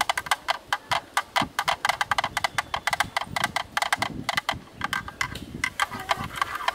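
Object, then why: Plastic camera lens hood. A thin bamboo stick knocks rapidly and rhythmically on the bayonet ring of a black plastic camera lens hood, on its mount side. About three dozen short, dry, hollow clicks pitched around 840 Hz, each with a bright edge, stop instantly with no ring and carry almost no low end.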